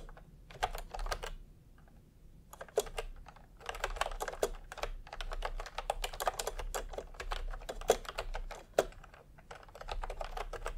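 A full-size plastic retro computer keyboard with round pastel typewriter-style keycaps and a hollow body, resting on a white cloth, is typed on quickly with fingertips. Dense bursts of light, hollow clacks run in quick runs with brief pauses, and a few sharper key hits stand out.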